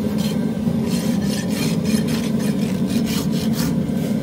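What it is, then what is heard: Horse hoof being rasped. A steel farrier's rasp is pushed along the outer wall of a horse's hoof, solid keratin horn resting on a metal hoof stand, in repeated filing strokes. The sound is a steady, continuous, gritty rasp with a low hum around 230 Hz and faint bright swishes on each stroke, holding an even level throughout.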